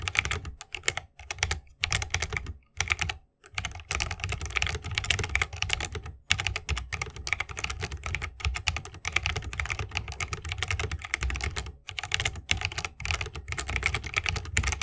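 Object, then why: Mechanical keyboard, wood case and plastic keycaps. Rapid typing with the fingertips of both hands on a 60% mechanical keyboard with a bamboo wood case, plastic keycaps and Holy Panda tactile switches. The presses form a steady stream of crisp, bright clacks over a deeper thock, broken by brief pauses. Each keystroke dies away almost instantly.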